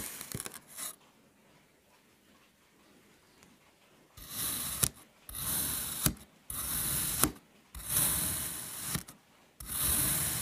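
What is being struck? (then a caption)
Kinetic sand block cut by a metal knife. A metal knife presses down and slices in a cross grid through a solid, flat mango shape of green kinetic sand already scored into cubes. After a few faint taps and a quiet pause, five long, gritty, broadband scraping strokes follow, each ending in a sharp click as the blade finishes its cut.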